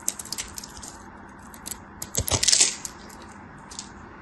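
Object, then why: Bar soap cut with a metal knife. A metal craft knife carves and scrapes small cubes off a solid, dry, hand-sized green soap bar that is pre-scored into cubes and held by long white nails. The cubes crumble away with a series of bright, crisp clicks and crackles that build into a louder, scratchy burst of scraping and crumbling midway. The sound is mostly high-pitched with very little low end and short decays.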